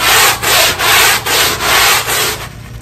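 A black push broom on a long handle scrubs a small square of wet, ribbed synthetic carpet tile, its bristles rubbing through the pile. Six steady back-and-forth strokes make a bright, hissy scratching with short dips between them, and the last stroke fades out softer.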